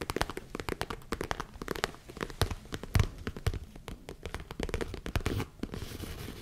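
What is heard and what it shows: Long nails scratch and tap the sides of a small, hollow tan leather zip case held close to the mic. Rapid, dry, close-up taps with very short decay come through mostly as low thumps, mixed with crinkly scratching. Near the end the sound turns into a steadier, softer rasp.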